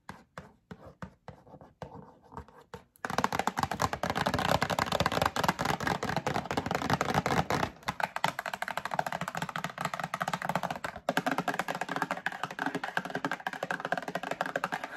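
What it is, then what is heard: Cardboard box. Long acrylic nails tap a medium printed cardboard Breakfast Essentials box held in the hand, first with a few spaced, dry clicks for about three seconds. The tapping then turns into a rapid, dense rattle of short, crisp hits with a bright papery edge, pausing briefly twice before carrying on to the end.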